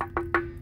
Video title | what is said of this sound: No Water or Low Pressure how to fix it & diagnose the issue. Well pump not pumping | that thuddy sound is supposed to sound like a bell because it's not supposed to have water in it